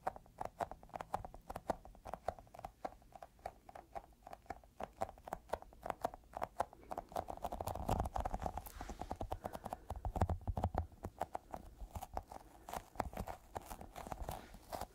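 Fingertips tap rapidly on a small, solid, yellow sticky squishy rubber toy ball held close up. The result is a steady stream of short, dull, tacky taps with a low thump, a midrange tone and almost no ring. The tapping grows denser and louder between about 8 and 11 seconds.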